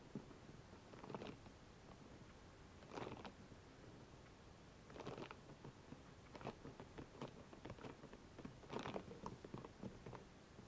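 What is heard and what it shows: Long nails scratch over and between the spikes of a hollow, soft rubber spiky massage ball, about hand-sized and cupped in both hands. Soft, dry scratching is broken by short bursts of brighter rasps and quick ticking clicks, with several louder swells along the way.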